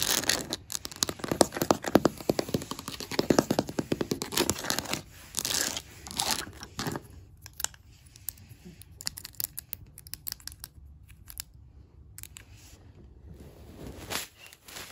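Long black matte nails tap and scratch rapidly on large, solid hardwood floor planks with visible grain, ending with a fingertip on the surface. The first half is a dense, crackling flurry of bright, dry clicks and scrapes. It then thins to sparser, softer taps that die out almost at once.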